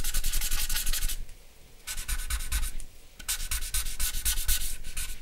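A charcoal pencil or blending stump is rubbed and scratched across a flat sheet of drawing paper. Quick, bright, papery scratching strokes come in three bursts separated by quieter pauses, over a steady low rumble.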